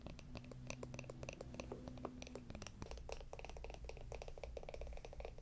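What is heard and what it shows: A small, hollow, round wooden jar with a lid is held in the hands and tapped and scratched with long acrylic nails. The result is a rapid, quiet stream of short, dry clicks and scratchy ticks over a low, steady rumble.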